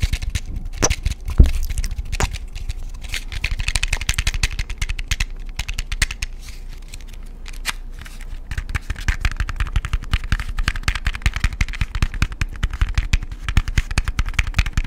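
A small closed cardboard matchbox with a printed label is held up close to a microphone in the fingers and tapped and scratched with fingernails. The result is a dense stream of quick, dry taps and clicks with a deep, close-up thump underneath, easing into softer scratching partway through before the rapid tapping picks up again.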